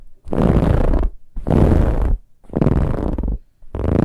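Long nails on both hands scratch hard across a large, soft, dark brown pillow with a ribbed, textured fabric cover. Four separate bursts of scratching come through, each about a second long, as a dense, rumbling rasp that is heavy in the low end, with short pauses between them.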